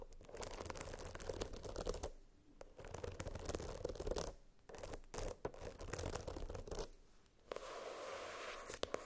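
Long nails scratch the floral-printed hard cardboard cover and the metal spiral binding of a hardcover spiral notebook, seen close up. Dense, scratchy rasping comes in bursts centred around 500 Hz, broken by short pauses. The clip ends with a steadier, brighter scraping passage.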